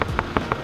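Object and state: Sound-deadened car door panel (deeper, damped knock).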